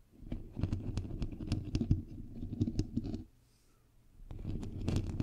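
Long pink nails scratch and tap on the hollow white perforated metal mesh grille of a bare microphone head, producing dense, boomy low rustling and crackling scrapes with quick, sharp clicks. The scratching runs for about three seconds, drops to near silence for a second, then resumes.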